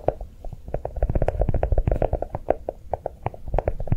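A notebook shaped to look like chocolate is tapped quickly with soft, rapid taps. Each tap is a short, dull knock with a low thud and a hollow mid tone, dying away almost at once with no bright edge.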